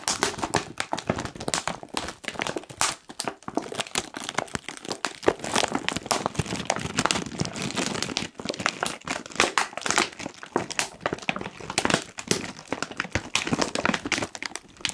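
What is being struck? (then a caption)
Foil-lined plastic crisp packet. A medium-size, puffed and apparently full Kettle crisps bag of foil-lined plastic is squeezed and crinkled by the fingertips of both hands spread over its front. The result is a dense, continuous stream of sharp, bright crackles and crinkles with quick, dry snaps and little low end, with no pauses for 15 seconds.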